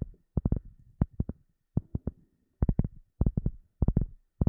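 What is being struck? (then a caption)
Flat rubber sheet. A round, flat black rubber sheet is held in front of the microphone and tapped and scratched with the long nails of both hands. About seventeen dull, low thumps land in quick clusters of two or three, each dying away almost at once, with soft scratching between them.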